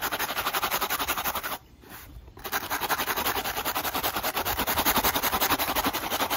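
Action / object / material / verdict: scrape / rubber and foam sneaker sole / rubber / none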